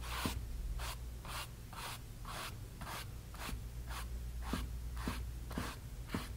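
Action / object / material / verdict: scrape / stretched cotton canvas panel on a wooden frame / cotton canvas / none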